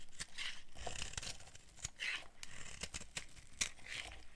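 A solid, dry white soap bar held in the hand is shaved and carved by a metal blade, shedding flakes and crumbs. A quick series of crisp, dry scraping and tearing strokes is heard, bright and crackly, each stopping short with almost no ring.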